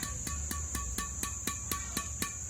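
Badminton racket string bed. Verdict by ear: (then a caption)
Tight. A Nimo Passion 300 badminton racket, strung at about 27 lbs, has its string bed tapped 11 times in a steady rhythm, each tap a short, sharp ping centred near 1.1 kHz. A constant high-pitched tone and a low hum run underneath. The string bed sounds reasonably crisp and ringing, as expected for that tension.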